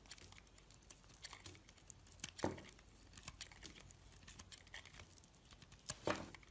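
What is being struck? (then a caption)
Bar of soap. A blade scrapes crumbly shavings off the surface of a solid, dry piece of orange and yellow striped soap held in the hand. Many quick, soft, crackly scraping strokes are heard throughout, with two louder, fuller scrapes near the middle and near the end.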